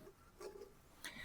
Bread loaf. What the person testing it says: You can tell he's cooked when you tap them and he's got a nice hollow sound